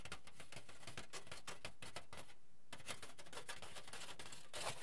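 A crinkled sheet of aluminium foil is held in the air with both hands and flexed, crumpled and stretched. It gives a dense, steady stream of quiet, bright crinkling crackles, with a brief lull partway through and a slightly louder crunch near the end.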